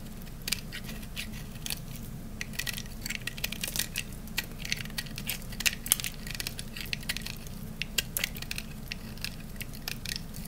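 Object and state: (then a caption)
Dry soap bar. A utility knife blade cuts and shaves the edges of a peach-colored dry soap bar, now worn down to a thinner solid piece. It makes a rapid, irregular series of short, dry, bright crunches and crackles with almost no ring, over a steady low hum.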